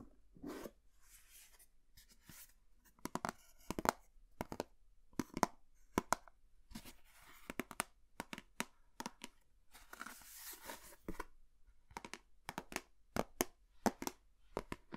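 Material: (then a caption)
Plastic. A hollow white plastic lunch box with a printed green bunny lid, held in the hand, is tapped and scratched with long nails. Many sharp, dry clicking taps come in irregular bursts, mixed with brief hissy scratching passages. Each tap stops almost instantly, with no ring.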